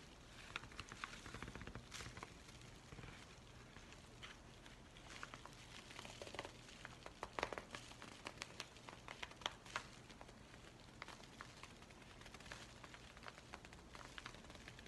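A yellow Amazon kraft paper padded envelope is held flat while fingers and nails scratch and tap its surface. The result is a quiet, dense stream of dry, crackly scratches and soft crinkles with bright, brief clicks scattered throughout over a faint low hum.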